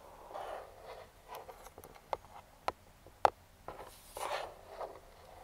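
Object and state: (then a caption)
Cardboard box tapped with metal nails. Metal claw finger rings scratch and tap a hollow, printed cardboard speedlite box lying flat. Soft, papery scraping swells in the midrange come and go, broken by four sharp, dry taps with almost no ring.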